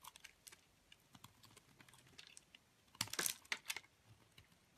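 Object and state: Bar soap being cut.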